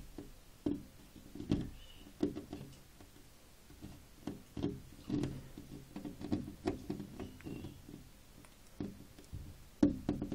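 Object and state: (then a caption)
Glass window pane with plastic film. A large flat glass window pane covered with a ribbed decorative plastic sticker film is tapped and knocked with fingertips and short nails. The result is a quiet, irregular series of dull, low knocks with a short, damped ring, and faint bright clicks from the nails on some hits.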